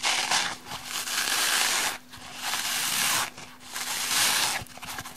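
A small, light, porous rectangular kitchen sponge of layered green and pink soft foam with a black abrasive scouring-pad layer in the middle is held in both hands and rubbed and scratched with long painted nails. Three long bursts of bright, hissy scratching are heard, separated by short quieter gaps, with a faint steady low hum underneath.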